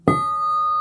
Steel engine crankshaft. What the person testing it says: you hear that how it rings hold your finger on it like that that crank is not cracked